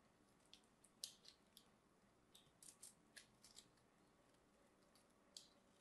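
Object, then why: Bar of soap. A small craft blade scores and scrapes the face of a solid cream bar of soap held in the hand, cutting it into small cubes. Eleven quiet, bright, crisp scratches are heard, each dying away almost at once, with faint hiss between them.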